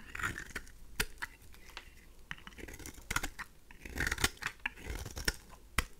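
A pink oval bar of dry rose soap, held in the hand, is scraped with a craft knife blade, shaving off fine curls. Quiet, dry scratchy scraping is broken by sharp, bright clicks and crunches as the blade bites into the solid soap.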